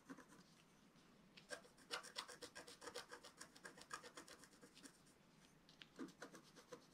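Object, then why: Coated scratch-art paper scratched with a wooden stylus. A wooden stylus scratches across a flat black-coated scratch-art paper sheet in quick, uneven strokes, about four per second. Each stroke is a dry, papery rasp with bright, hissy edges, pausing briefly between bursts.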